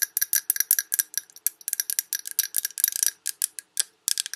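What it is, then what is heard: Glass candle jar full of wax. Long red nails tap rapidly on the glass sides of a large Yankee Candle jar full of wax. The result is a dense, irregular run of short, bright clicks with a faint glassy ring that dies almost instantly.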